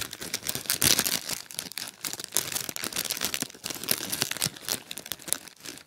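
A small clear plastic bag partly filled with popcorn is held in both hands and squeezed with the fingertips. It gives a steady run of bright, crisp crinkles and crackles with very little low end, each burst dying away almost at once.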